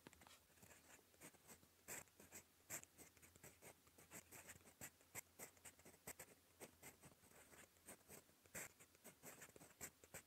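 A gold metal fountain pen nib writes on a cream lined notebook page, making a quiet, dry, bright scratching. It comes as rapid short strokes and taps, with sharper clicks standing out now and then over a faint low hum.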